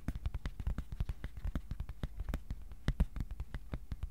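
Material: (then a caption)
Cardboard. Fingertips tap rapidly across the surface and edges of a flat, thin white cardboard sheet held up at an angle in both hands. The result is a quick, uneven series of short, dull, low taps with almost no ring, and a few slightly louder taps near the middle.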